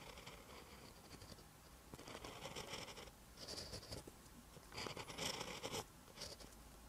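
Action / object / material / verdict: scrape / pen tip on a paper notebook page / paper / none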